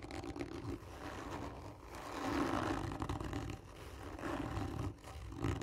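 Long nails scratch slowly and hard across the surface of a textured, hollow cardboard tube lying on its side. The result is a raspy, roaring scrape with a low, hollow resonance that swells and fades in long continuous strokes.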